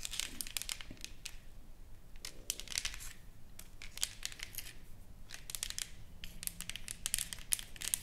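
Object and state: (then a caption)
Engraved wooden plaque, nail scratching and tapping. Long nails scratch and tap along the engraved lettering of a solid, flat wooden plaque painted with flowers. The result is a quiet, steady stream of bright, crinkly scratches and short, dry taps that stop instantly with no ring, over a faint low background hum.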